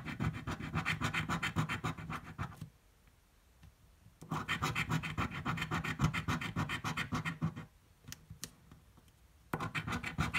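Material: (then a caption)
Coated card. A coin held in the fingers scratches the coating off a thin blue card paper scratch-off lottery ticket resting on a table. Quick, rhythmic, gritty strokes come in three bursts, separated by quiet pauses with a few faint ticks. Each stroke is short and dry, with a low papery rumble under a brighter rasp.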